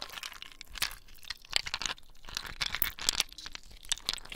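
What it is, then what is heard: Ice cubes. Small clear, solid ice cubes are rubbed and clinked together in wet bare hands, in the palms and fingertips, over a basin of water. Many quick, bright crunching and crackling clicks come in an uneven stream with very little ring, over a faint wet background.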